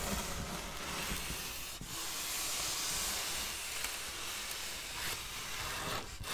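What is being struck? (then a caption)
Styrofoam packaging insert. Long black fingernails scratch across a large white, red-lit styrofoam packaging insert of solid foam with molded recesses, held across the body. The result is a steady, bright, hissy scratching and squeaking that runs almost unbroken for about six seconds, with brief dips near 1.8 and 6.2 seconds.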